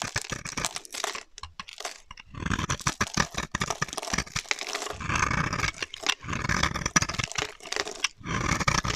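A utility knife blade scrapes and cuts dry orange-red shavings off the surface of a solid oval red soap bar held in the hand. Dense, crisp scraping and crunching bursts come in repeated strokes with brief pauses, bright and papery with a low rasp underneath.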